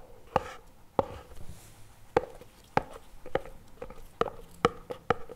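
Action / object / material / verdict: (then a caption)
tap / plastic spread tub / plastic / none. A CremaNovi plastic spread tub lies on its side, held by hand, while fingertips and nails tap its lid and rim. About ten short, dry, hollow plastic taps ring out with a midrange tone near 470 Hz, unevenly spaced and quick to die away.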